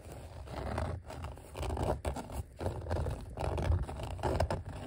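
Fingertips and short nails scratch and tap across the raised letter outlines of a flat, thin, solid green glossy vinyl sheet of die-cut letter stickers. The result is a dry, low-heavy scraping and rustling in uneven bursts, with soft taps mixed in and almost no bright content.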